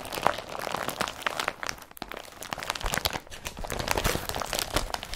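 Fingers press and crinkle the glossy body of an empty blue woven polypropylene IKEA BRATTBY carrier bag and handle its straps. A steady stream of dense, bright crinkling and crunching bursts continues for about five seconds with a brief lull near the two-second mark.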